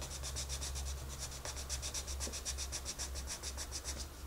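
A wooden colored pencil shades a rabbit drawing on a page of an open paper coloring book, held steady by the other hand. Continuous, rapid scratching strokes make a bright, rhythmic rasp over a steady low hum.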